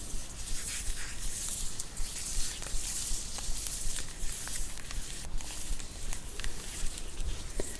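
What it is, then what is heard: Chocolate bar in plastic wrapper. Long nails tap and scratch across the plastic wrapper of a large flat Cadbury Caramilk sharing bar of solid chocolate lying on a fluffy rug, with a Caramac bar untouched beside it. Quiet, steady tapping and bright, crinkly scratches repeat at an even pace over a low, soft rumble.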